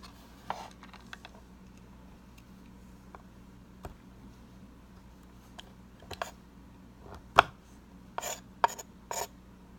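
A metal paring knife scrapes and shaves the end of a solid white bar of soap held in the hand over a bamboo cutting board, dropping fine powder and flakes. Short, dry rasping scrapes come at irregular intervals over a quiet steady hum. The louder, brighter strokes fall toward the end.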